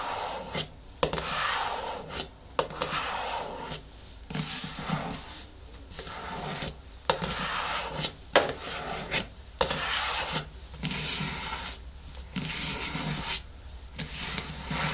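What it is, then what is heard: Plastic cosmetic jar. Long nails slowly scratch and rub the lid top of a medium yellow plastic hair-mask jar resting on a wooden table. Bright, dry rasping strokes come in bursts separated by brief quiet gaps, with a few sharp clicks standing out. The sound is close and textured, with a steady low hum underneath.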